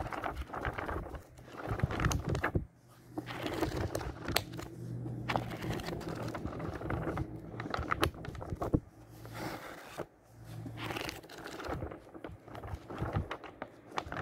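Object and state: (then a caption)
Old paper book, pages riffled. The yellowed paper pages of an old book from 1948 are riffled quickly up close, flapping against each other. Dense papery flutter and crackle come in bursts with brief pauses, over a faint steady low hum.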